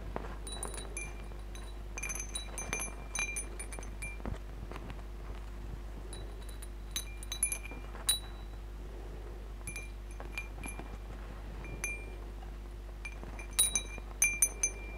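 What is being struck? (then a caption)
Hanging wind chime of hollow metal tubes and glass beads. Fingertips and nails flick and strum a hanging wind chime of hollow metal tubes with glass crystal beads, so the tubes and beads knock and clink together. Bright, high tinkling strikes with short, quick-fading rings come in scattered bursts over a steady low hum.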